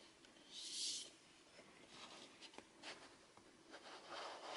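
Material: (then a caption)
Cardboard. Fingertips tap and rub the printed surfaces of a small, hollow, rectangular cardboard Fitbit Blaze product box with a blue inner part, likely holding its contents, as it slides and is handled. Soft, bright, papery scratching and rubbing swell and fade quietly, broken by two short, sharp taps near the middle.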